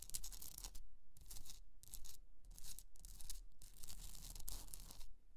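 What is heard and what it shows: Long nails scratch and tap the top and sides of a hollowed, rough pink rock-salt Himalayan salt candle holder resting on fur. Bright, gritty scratching comes in repeated bursts over a steady low rumble.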